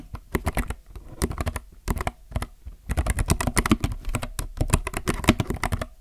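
Both hands type with their fingertips on a compact mechanical keyboard with plastic keycaps. Quick, uneven bursts of short clacks and clicks come with brief pauses between runs. The keystrokes have a deep, thocky body and a crisp, bright edge.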